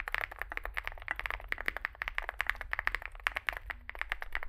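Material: Metal, plastic.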